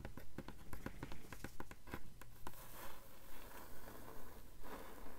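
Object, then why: Hardcover book endpaper over board. Long nails tap in a quick, steady rhythm on the blank, thick endpaper over the board inside a blue hardcover book, then scratch across it. Short, dull knocks give way to a softer, rasping scrape, all at a low level.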